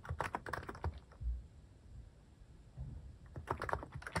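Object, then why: Mechanical keyboard with plastic keycaps. Fingertips tap quickly on a mechanical keyboard with plastic cat keycaps, producing short, crisp clicks over soft low thumps. A burst of typing stops for about two seconds of quiet, then resumes.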